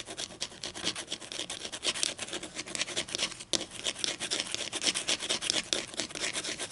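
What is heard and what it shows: Long green and black acrylic nails scratch and rub along the edge of a solid, flat wooden ruler held just above a table. The result is a dense, bright, raspy scratching made of quick, overlapping strokes, with almost no low end. It keeps up steadily throughout, apart from a brief dip around the middle.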